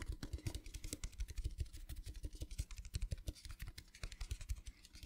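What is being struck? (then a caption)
Small metal tin box. A small, hollow, rectangular metal tin, set underside up, is tapped quickly with fingertips and nails. About 45 rapid taps come in an uneven, continuous patter: soft, low hollow thumps mixed with bright clicky ticks from the nails. Each tap dies away almost at once.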